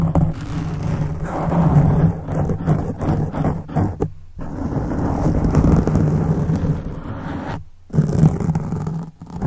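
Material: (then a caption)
Foam. Fingertips scratch a black foam windscreen on a silver microphone, and fingers of both hands tap it. The result is a dense, muffled, low rumbling scrape with soft thumps and almost no high end, and a steady low tone around 156 Hz. The sound cuts out briefly near 4 and 8 seconds before resuming.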